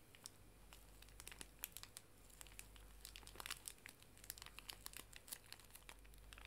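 A small, full pink pocket tissue pack wrapped in plastic film is held horizontally and squeezed and crinkled with the fingers. Quiet, rapid crackles and crinkles with bright, sharp clicks sit over a steady low hum throughout.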